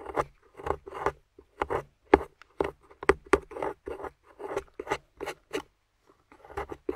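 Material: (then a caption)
Plaster. A metal pick, held by long-nailed fingers, scrapes a grey plaster fossil dig block with yellow fossil bones set into it. About twenty short, gritty scraping strokes come in quick bursts, each with a mid-range rasp around 400 Hz and brief bright edges. A short pause comes before the last few strokes.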